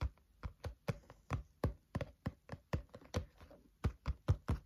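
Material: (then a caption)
Cardboard. Fingertips of both hands tap rhythmically on the flat green cover of a spiral notebook. About nineteen short, dull, low thuds come in a quick, uneven rhythm, each dying away almost at once.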